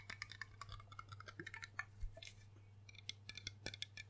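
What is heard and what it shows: Rapid fingertip and nail tapping on the embossed base and body of a large, hollow, dark glass rum bottle makes quiet, bright clicks and ticks that die away almost at once. They ride over a steady low hum and form a dense, uneven run of about two dozen taps.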